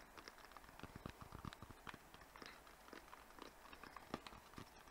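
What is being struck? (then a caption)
Small cardboard box. A small white rectangular cardboard box, hollow, is held up and turned while fingertips and nails tap it quickly. The result is a steady run of soft, dry, short taps with a hollow low knock and light clicky edges, at a quiet level.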